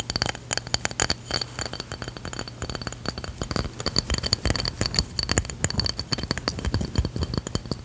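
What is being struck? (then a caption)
Stone or ceramic drink coaster tapped with fingernails. A round, solid tan stone or ceramic drink coaster with an etched design is held in the hand and tapped rapidly with long fingernails across its face and edge. The result is a steady stream of sharp, dry clicking taps with a bright, glassy high ring that dies away almost instantly.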